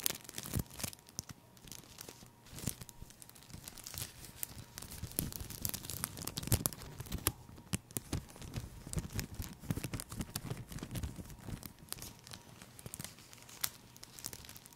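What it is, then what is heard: Cellophane plastic sheet being crinkled. A folded sheet of green cellophane plastic is held in the hand, then crinkled and squeezed with the fingers. It gives a steady run of dense, crackling crinkles with sharp, bright snaps over a soft low rustle, and each pop stops dead without any ring.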